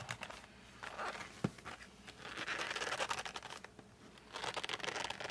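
Fingertips with short nails grip and rub the printed front of a flat cardboard case of 52 colored pencils, held at the edges with the pencils inside. It makes dry, bright scratching and crinkling in uneven bursts, with one sharper knock near the middle and quieter stretches between.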